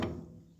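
A single knock on the steel tank of an old JWT Western slurry tanker gives a low, hollow thud with a short resonant ring around 340 Hz that fades within about half a second. The tank sounds empty.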